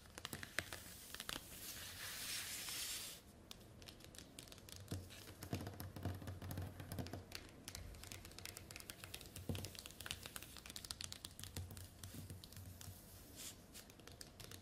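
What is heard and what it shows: Long nails scratch and tap across the surface of a large, thin, semi-transparent green plastic document folder lying flat on a table. Dense clicky taps and crinkling scrapes come in quick succession. A steady hiss of broadband noise fills the first three seconds before the tapping carries on more sparsely.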